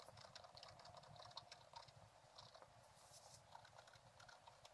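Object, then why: Scratch-art paper board with wooden stylus. A thin wooden stylus stick scrapes across a flat scratch-art card, a black coating over a gold layer lying on a table, scratching away the black coating. The clip is a quiet, steady run of quick, dry scratching strokes with a bright, papery rasp and brief ticking contacts that stop almost at once.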